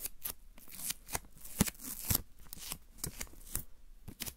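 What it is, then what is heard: Paper masking tape being crinkled. A long strip of thin white paper (washi) masking tape is held between the fingertips of both hands and stretched, flexed and rubbed. It gives a quiet, crinkly sound of irregular dry crackles and short bright snaps over a soft rustling background.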